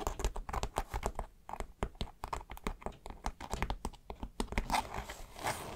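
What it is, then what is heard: Polyester fabric backpack. Long nails scratch and fingertips rub the stiff coated polyester fabric of a dark green backpack, close up around a seam and a webbing tab. Quick dry scratches and taps come one after another with short gaps, mixed with soft crinkling rustle, and the last stretch turns into a steadier, brighter rub.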